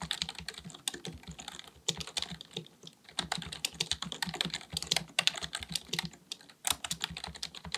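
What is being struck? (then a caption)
Plastic computer keyboard. Both hands type continuously with their fingertips on a black, full-size plastic keyboard with a hollow body, likely mechanical, resting on a desk. Rapid key taps come as a dense stream of short, dry, bright clicks with a light low thump beneath, and brief lulls near the third and sixth-and-a-half seconds.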